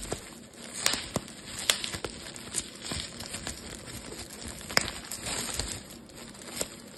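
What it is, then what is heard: Plastic bubble wrap. A thin, air-filled sheet of clear plastic bubble wrap is squeezed and twisted between fingertips and thumbs. Sharp, bright pops of bursting bubbles cut through continuous high crinkling of the plastic. The pops are short and dry, with almost no ring after each one.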